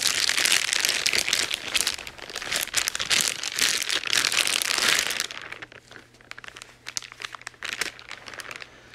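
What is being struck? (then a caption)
Clear plastic bag. White-gloved fingers crumple and rub a thin, clear plastic wrapping bag around a grey cable, producing dense, bright crinkling for about five seconds. The sound then thins to quieter, scattered crackles over a faint low steady hum.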